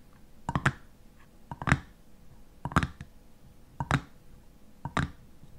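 Fingernails tap and scratch the top of a white metal screw lid on a nearly empty clear glass jam jar. Five short bursts of quick, dry clicking taps come at roughly one-second intervals, each dying away at once with no ringing and a quiet background in between.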